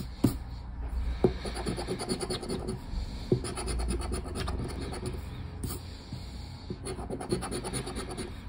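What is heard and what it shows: A new thin cardboard lottery scratch-off ticket lies flat on a wooden table while a hand scratches its silver latex panel with the edge of a black plastic disc. Steady dry rasping and scraping strokes continue throughout, with sharper ticks now and then and a low, muffled undertone.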